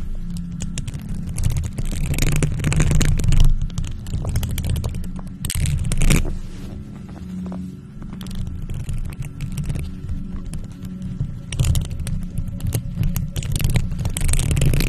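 Long gloved nails scratch around a hollow silver metal mesh microphone grille, making a steady stream of dense, low, rumbling scrapes with brief brighter crackly bursts. The sound stays mostly deep and muffled, with irregular scratching swells throughout.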